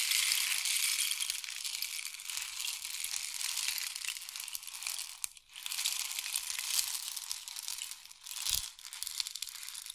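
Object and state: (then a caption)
Wooden rain stick. A long, hollow, painted wooden or bamboo rain stick with pellets inside is held in both hands, fingertips resting on the tube, and slowly tilted so the filling trickles through. It makes a steady, bright, rustling hiss with almost no low end. The flow briefly fades around 5 seconds and again near 8 seconds, and a soft low knock comes just after the second fade as the trickle starts up again.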